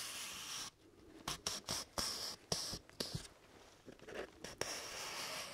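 Fingertips and nails scratch and rub along the top edge of a single thin sheet of white printer paper held upright. A steady, bright papery hiss gives way to about nine short, irregular scratching bursts that rasp with high-pitched crackle. The clip ends in another sustained rubbing hiss.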